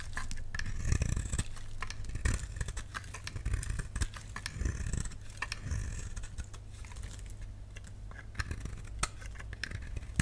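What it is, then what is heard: Dry bar soap being carved. A solid, dry pink bar of soap held in the hand is carved with a utility knife blade, and crunchy flakes break off it. Dense, crisp clicks and scrapes come in rapid irregular bursts over a low, steady hum.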